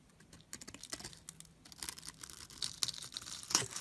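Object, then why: Bar of soap cut with a blade. A solid yellow bar soap, held in the hand, is carved into small cubes with a blade along its grid-scored face. Quiet, crisp, bright crackling cuts and scrapes come in an uneven patter, with little low end and very short decay. Brief louder snaps stand out near the end.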